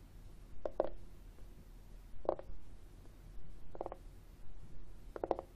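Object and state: Plastic external CD drive.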